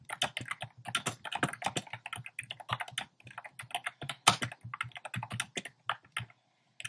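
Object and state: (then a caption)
Plastic mechanical keyboard. Fingertips type rapidly on a compact plastic mechanical keyboard with a black plastic case and round pastel plastic keycaps. The result is a dense, steady stream of short, bright clacks with a soft low thock under each keystroke. It thins out near the end and finishes with one last tap after a brief pause.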